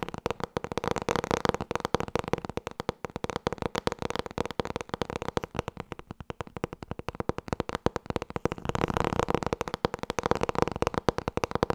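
Fast, continuous fingertip tapping on the hardcover book "Het boek met alle antwoorden" produces a rapid stream of dry, short knocks with a hollow mid-range tone around 480 Hz and very little high sound. The tapping eases slightly in the middle before picking back up in intensity toward the end.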